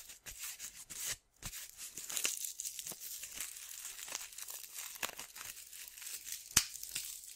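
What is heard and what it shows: A small, tan, paper-backed sandpaper strip, thin and flexible, is held in both hands and bent and crinkled by fingertips with long dark-painted nails. It gives quiet, dry, bright crinkling and rasping scratches with almost no low end, with a brief pause near the start. A sharper crackle stands out near the end.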